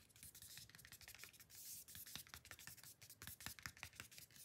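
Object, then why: Card-stock paper booklet cover. Short nails scratch and trace along the logo and bottom edge of a flat, solid, silver-white card-stock photobook cover from BLACKPINK 'THE ALBUM', held in hand. Quiet, dry, bright scratching comes in many quick, irregular strokes with a faint low rumble beneath.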